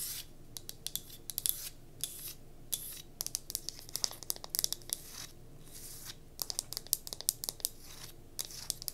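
Long nails scratch along the grain of a solid, striped pine wood cube tealight holder held in the hand. The result is bursts of dry, bright, high-pitched scratching and quick sharp clicks, separated by short quiet pauses.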